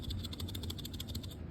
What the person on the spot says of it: that's me shaking it. It's got sand in it.